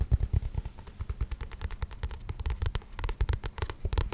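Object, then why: Paperback book with card cover. Fingertips tap and scratch the glossy card cover and spine of a paperback book. They make a rapid, uneven run of soft, dull, low thumps, laced with brief, bright, crackly scrapes.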